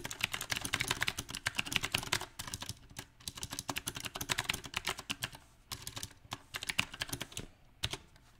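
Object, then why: Mechanical keyboard with round plastic keycaps on a metal frame. Fingertips type continuously on a mechanical keyboard with round plastic typewriter-style keycaps on a silver metal frame. The result is a rapid, uneven stream of sharp, bright key clicks with very short decay, broken by brief quieter lulls.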